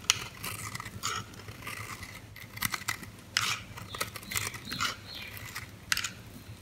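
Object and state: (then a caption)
Bar of soap being cut. A metal utility blade shaves and cuts pieces off the edge of a pink, oval, solid, hand-sized bar of soap held in the hand. Short, dry, bright scraping and crisp cutting strokes come in irregular bursts, with a faint low hum underneath.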